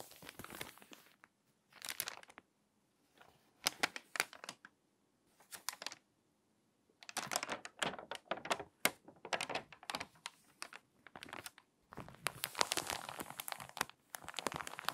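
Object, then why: Glossy paper magazine. Long-nailed fingers lift and turn a page of an open, water-damaged glossy paper magazine lying flat on a table, then rub the page flat. Quiet bursts of dry, bright crinkling and rustling are separated by short silences, with the densest, longest crackling at the end.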